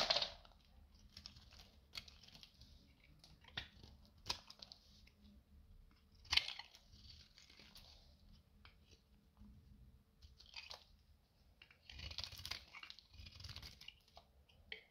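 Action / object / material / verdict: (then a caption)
scrape / bar of soap cut with a knife / soap / none. A metal utility knife cuts strips and flakes from the edge of a solid, dry beige bar of rancid soap held in the hand, with the shavings piling up nearby. Quiet, bright, crisp scraping and crackling cuts come in irregular bursts, with short dry snaps and almost no ring between strokes.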